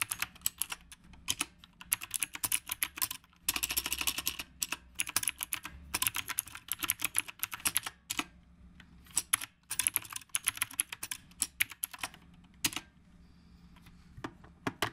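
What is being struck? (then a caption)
Mechanical keyboard with round plastic keycaps. Fingertips from both hands type continuously on a black retro typewriter-style mechanical keyboard with round dark plastic keycaps, with a phone resting in its stand. The keystrokes are fast, bright, short clicks with almost no ring, bunching into dense bursts with brief pauses between them.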